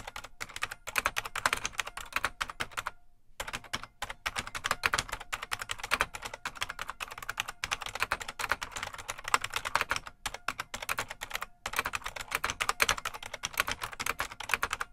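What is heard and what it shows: Fingertips of both hands type continuously on a full-size beige plastic IBM Model M mechanical keyboard with a hollow case. It produces a dense, rapid stream of bright, sharp clacks with a hollow ring, with brief pauses near 3 and 11.5 seconds.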